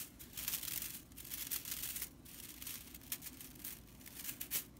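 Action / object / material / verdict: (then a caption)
scrape / broomcorn straw whisk broom / straw / none. A broomcorn straw whisk broom with red stitching lies on a wooden table while long purple nails and fingers part and scratch its dry bristles. The result is a bright, dry, crinkly rattle of straw in uneven bursts. There are several sharper flicks near the end.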